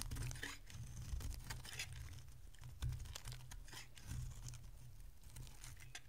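A solid oval bar of dry green soap is held in the hand and carved with a metal utility blade. Repeated crisp scraping and crackling shavings come through in bright bursts over a steady low hum.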